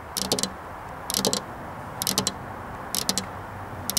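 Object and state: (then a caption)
Glass window pane tapped with fingernails. Both hands with long black-polished nails tap on a flat glass window pane with a metal rail, the hands staying on the glass throughout. Five bursts of quick, bright clicking taps, each with a low tonal knock beneath, come roughly once a second over a steady low hiss.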